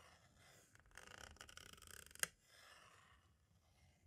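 A green-and-black striped tool taps along the edge of a hollow plastic compact cassette shell, then traces over its label. The result is a quiet run of soft, bright, dry ticks and scratchy rustling, ending in one sharper click before settling into a faint, airy hush.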